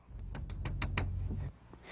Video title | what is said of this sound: Airframe Aircraft Structural Repairs | you can use it to tap on a composite structure and you should hear a ring